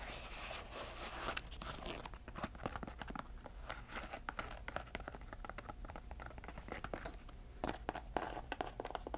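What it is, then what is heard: Canvas shoe being scratched and tapped. A small grey canvas shoe with velcro straps and a white rubber sole, hollow and empty, is held in hand while long nails scratch and tap it. The result is a steady stream of quick, dry taps and rough scratching, broken up by the bright, ripping tear of velcro.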